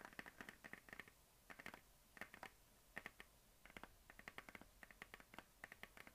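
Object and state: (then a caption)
Plastic desk globe. A medium hollow plastic map globe on a stand is scratched and tapped with long nails and fingertips. Quick, light, clicky taps come in short clusters separated by brief pauses, each with a hollow, bright ring around 1.8 kHz and a soft scratchy edge. The sound is quiet and close, with little low end.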